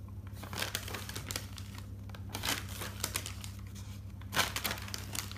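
Fingers turn single white pages of an open, thick paper notebook, producing soft, dry paper rustles and crinkles with brief, bright page-flip swishes. The turns come at an uneven pace over a steady low hum.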